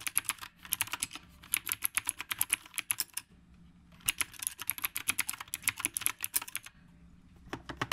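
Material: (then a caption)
Plastic. Fingertips type continuously with both hands on a dark retro typewriter-style mechanical keyboard with round plastic keycaps. Rapid, bright, sharp clicks come in two dense bursts separated by a brief pause, then a few last keystrokes at the end, each click dying away almost instantly over a faint low hum.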